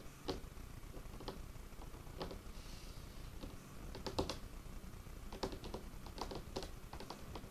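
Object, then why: Wooden tabletop. Curled fingertips and nails rapidly tap and scratch a large, solid, dark-stained wooden tabletop. Quiet, crisp clicking taps with short, dry decays rise above a soft, steady scratching and low rumble, with a few louder knocks scattered throughout.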